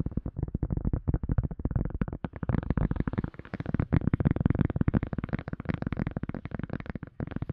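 A silicone cup lid is tapped rapidly and steadily, with no talking. The taps are soft, dull thuds weighted toward the low end, with almost no ring, forming a dense, continuous patter throughout.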